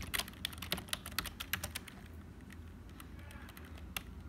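Fingertips of both hands type on a black HP plastic membrane keyboard with hollow keys. Quick, bright, dry clicks come in a dense burst for the first two seconds, then thin out to scattered taps over a low, steady rumble. A final sharper keystroke lands near the end.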